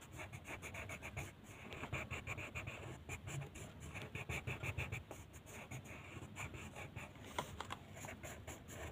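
A purple colored pencil tip scratches and rubs across a flat white paper mandala coloring sheet lying on a table, in quick coloring strokes. The result is a steady, fast run of soft scratchy strokes with a bright, papery rasp over a low rustle, and a few slightly sharper strokes along the way.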